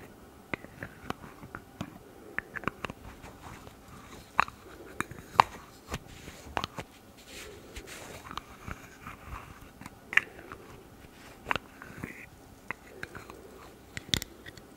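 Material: Plastic.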